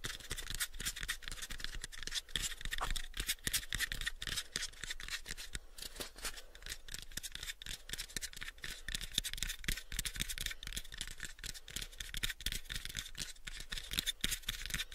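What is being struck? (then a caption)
Small wooden box. A pale, unfinished, hollow wooden box, about a 7-inch cube, is held close to the microphones and scratched and tapped with fingernails. Rapid, irregular, dry taps, about four per second, blend with a bright, scratchy rasp that peaks around 3.5 kHz over a low thump. The sound stays quiet and steady throughout, with each hit dying almost instantly.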